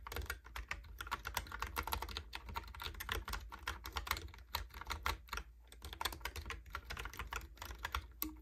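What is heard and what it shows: Fingertips type rapidly on a Logitech keyboard with round plastic keycaps, producing a dense stream of short, bright clicks and clacks. The keystrokes ring out quickly, over a steady low hum in the background.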